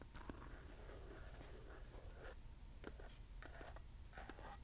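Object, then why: Small hollow metal candle holder. A small hollow metal acorn candle holder with a lattice pattern, held in both hands, is scratched and tapped with fingernails. Soft, quiet scratching alternates with light taps that give off a bright, high metallic ring, over a steady low background rumble.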